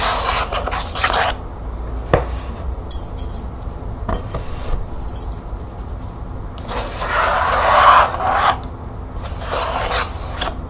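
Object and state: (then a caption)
Plastic document folder. Long painted nails scratch and tap along the edge and side of a thin, stiff, hollow green plastic expanding document folder with snap studs. Bursts of bright, rasping scratching come and go, broken by a few sharp, dry taps that die away quickly.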